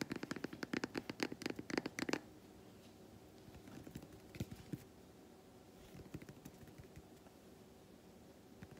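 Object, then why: Milk chocolate bar tapped and scratched with fingernails. Long white nails scratch and tap the squares of an unwrapped solid milk chocolate bar. A rapid burst of sharp, dry clicks and scratches fills the first two seconds, then lighter, scattered taps and scrapes continue over a quiet background until the end.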